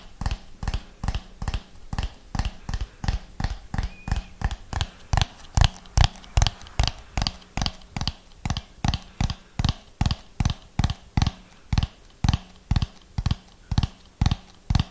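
A hollow orange ribbed plastic dome is tapped with fingernails while being turned in the hands. About forty short, dry taps come in a steady, slow rhythm, each a low hollow knock with a brief bright click that dies away instantly.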